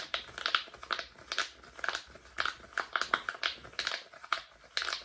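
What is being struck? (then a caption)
Silicone pop-it fidget toy. A flat, palm-sized rainbow silicone pop-it bubble fidget toy with hollow bubbles is held in both hands close to the microphone while fingertips press and pop the bubbles rapidly. The result is a quick, uneven series of short, bright, crinkly pops centered around 1.4 kHz, each dying away almost instantly.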